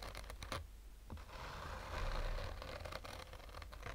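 Short fingernails slowly scratch a black oval, textured fabric sunglasses case with a hollow rigid shell. The result is a quiet, raspy scraping with soft irregular strokes and brief brighter scuffs over a low background rumble.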